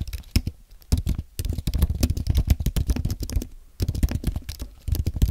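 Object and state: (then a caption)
Compact low-profile keyboard being typed on. Fingertips type on a compact white aluminium and plastic Apple keyboard. Quick bursts of soft, muffled key taps come mostly as low thuds, with short pauses between the runs of typing.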